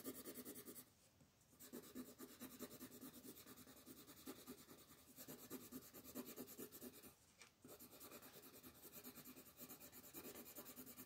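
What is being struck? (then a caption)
Colored pencil on a paper sheet on a table. A red colored pencil makes steady rubbing shading strokes across a flat paper coloring sheet lying on a table. The quiet, papery scratching comes in quick back-and-forth strokes with a bright hiss, pausing briefly twice before resuming.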